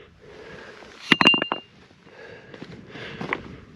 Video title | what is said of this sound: IT TOOK ME 3 TRIPS TO FIND THIS CRASHED PLANE! | sounds like metal when you drop it